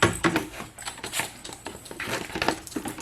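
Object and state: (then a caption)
Safety siphon glass ball valve rattling. A plastic safety siphon tube with a spring-loaded glass ball check valve is shaken in a bucket, producing a rapid series of light, dry clicks and rattles as the glass ball knocks around inside. This shaking primes the gravity flow instead of sucking on the tube.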